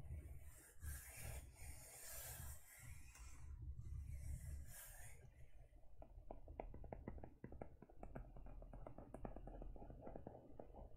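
Long nails scratch and rub the textured back of a closed teal faux leather e-reader cover, making bright, hissy rasping strokes for the first few seconds. The sound then shifts to a quick, uneven run of small dry clicks and taps over a low, soft rumble.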